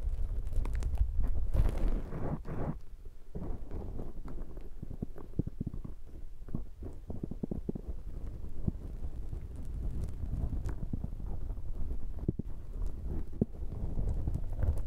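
Fingertips squish and rub a black foam microphone windshield. The result is a steady stream of dense, irregular, muffled scrunching and crackling, with deep booming rumble and almost no high end.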